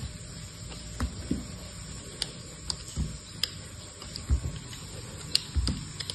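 A hand-sized solid bar of dried soap, with a blue outer layer and a grey-white core, is held in one hand and shaved and cut by the blade of an orange-handled utility knife. About nine short, crisp scraping cuts are heard, each a low, dull scrape topped with a bright tick, over a steady faint hiss. Chips crumble off the bar.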